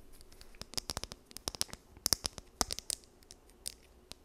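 Long nails scratch along the teeth of a small, solid blue plastic wide-tooth comb held in both hands. About nineteen quick, dry, bright clicks and scrapes come in an uneven run. Each tick is high and crisp and stops at once with no ring.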